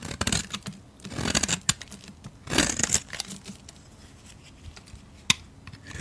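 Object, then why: Bar of soap scraped with a metal blade. A solid white oval soap bar, palm-sized and held in the fingertips, is scraped with a metal blade. Bright, dry scraping and crackling bursts come in short strokes, with quiet gaps between them and a sharp click near the end.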